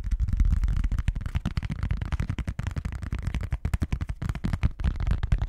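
A thin, hollow, rectangular orange plastic Pyrex food container lid is held in both hands and tapped and scratched across its surface with fingertips and nails. It makes a rapid, irregular run of dull, low, boomy thumps that die away almost instantly, with faint scratchy brushing between the taps.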